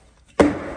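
A single tap on an outside wall corner covered with Phillip Jeffries manila hemp grasscloth wallpaper gives a hollow, mid-pitched knock that fades within a fraction of a second. It is a "fat corner": the wallcovering has not stayed down and has a large amount of air trapped behind it.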